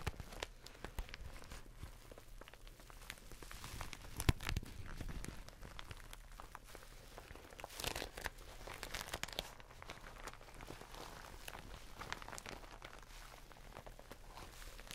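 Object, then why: Thin plastic bag. A glossy black plastic bag is held in both hands while the fingertips crinkle and squeeze it. The result is a steady, quiet stream of dry crinkling and crackling with bright edges over a low steady hum, with louder crunchy bursts around 4 and 8 seconds.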